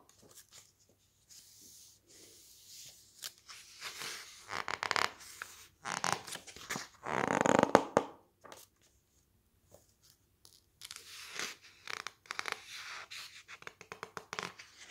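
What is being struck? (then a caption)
Softcover book with thick glossy paper pages. Fingertips squeeze and rub the thick glossy pages of an open softcover book and turn them, producing crisp, crinkly paper rustles in uneven bursts with short quiet gaps. The loudest sweep comes as a page turns midway, followed by softer, bright scratching rubs toward the end.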